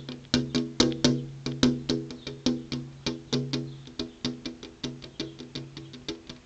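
Long purple-painted fingernails tap on a flat glass window pane with an insect screen behind it, making 29 quick, irregular taps. Each tap is a sharp, bright click with a short, pitched ring around 250 Hz that fades quickly.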